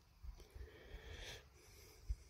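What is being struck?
Nothing is struck.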